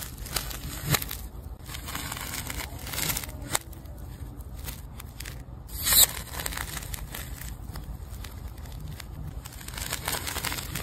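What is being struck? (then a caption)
Plastic tape ball cut with a metal blade. A metal scalpel cuts and scratches through the layers of a large, round, solid ball wrapped in red, yellow and green plastic tape. Bright, crackling tearing and scraping runs throughout over a steady low rumble, with a few sharper snaps near the start, middle and just past halfway.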